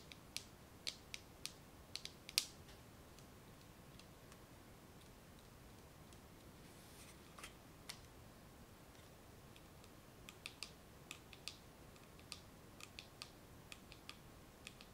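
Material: Plastic.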